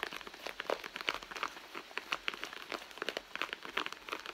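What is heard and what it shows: Long nails scratch and pinch the soft leather along the seam of a hollow red leather handbag. The result is a quick, dense stream of dry crinkling and crackling scratches, bright with almost no low end.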